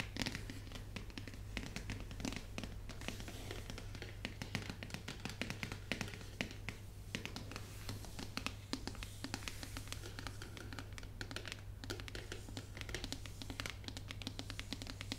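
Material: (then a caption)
Cardboard. Long nails rapidly tap and scratch the edges and sides of a full, shrink-wrapped white printed cardboard box for a new 13-inch MacBook Pro. The result is a dense stream of short, dry clicks and crinkly plastic-film scratches with bright highs, over a steady low hum.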